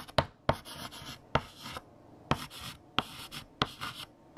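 A hand writes with a yellow chalk stick on a large flat black chalkboard. Sharp tapping dots of chalk striking the board alternate with bright, gritty scratching strokes between them.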